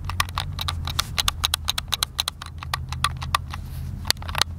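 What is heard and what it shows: Thumbs rapidly tap and click the buttons of a hand-sized, hollow, white plastic Xbox controller, producing a quick, irregular run of sharp, bright clicks with almost no ring. A steady low hum sits underneath the clicking throughout.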